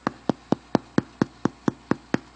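A freshly baked bread loaf, just out of the oven, is tapped 11 times on its underside in a steady rhythm, each tap a short, dry, hollow thump. The hollow sound shows the loaf is baked through; it rose well and sealed its crust.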